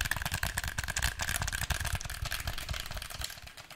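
Fingertips and nails tap rapidly on the shell and buttons of a black, hand-sized, hollow plastic PlayStation 4 controller held close. The result is a dense run of short, dry clicks and taps with a low thump and a faint tone near 1.7 kHz, gradually getting quieter toward the end.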